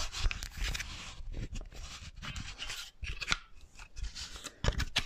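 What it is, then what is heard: Wooden mannequin hand. Long painted nails scratch and rub the fingers and palm of a small, solid wooden artist's hand model held up close to the microphone. The result is a run of dry, bright scraping and rasping strokes, each with a soft low thump, and short pauses in between.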